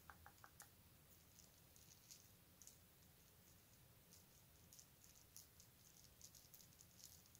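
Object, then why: Metal bead necklace. A long necklace of small metal beads is lifted and poured into an open palm, so the beads rattle and clatter together. The sound is quiet: scattered bright, short metallic clicks and ticks over a steady low hum, with a brief cluster of clicks at the start and more spread through the rest.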